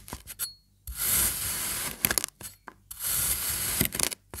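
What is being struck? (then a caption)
Kinetic sand block. A serrated knife makes repeated cross-cuts through the orange and yellow sections of a sliced kinetic sand slab. Two long, steady, bright gritty scraping strokes are heard, separated by short crisp ticks and crunches as the blade touches and lifts from the sand.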